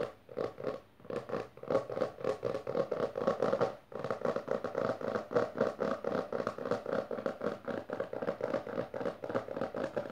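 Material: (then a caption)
Cardboard. Long fingernails of both hands rapidly and aggressively tap and scratch the textured board cover of a closed maroon hardcover book resting on purple fabric. Quick, dry, papery clicks and scrapes repeat about four times a second with a woody midrange tone, broken by a brief pause just before the four-second mark. The rhythm then resumes and continues steadily to the end.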